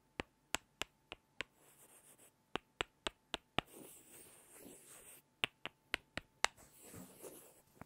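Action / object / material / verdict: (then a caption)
tap / pair of small wooden blocks / wood / none. Two small solid light-wood cubes held in the fingertips are tapped together close to the recorder, making 15 sharp, dry, bright clicks in three groups of five. Soft, hissy rubbing of the blocks against each other fills the pauses between the groups.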